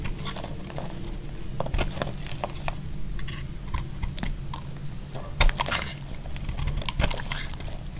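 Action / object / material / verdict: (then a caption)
scrape / bar soap carved with a knife blade / soap / none. A solid, dry purple bar of soap is held in the hand and carved with a utility knife blade, shaving off flakes. Short, dry scraping and crackling cuts repeat over a low, steady rumble, with a few sharper, brighter snaps standing out.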